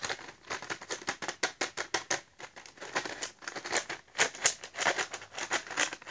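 A small printed cardboard box of Giotto felt-tip markers, hollow and seemingly full of markers, is held up in both hands and tapped with fingertips and nails. The result is a quick, uneven run of dry, crisp taps and clicks, bright and papery with almost no low end, each one dying away instantly.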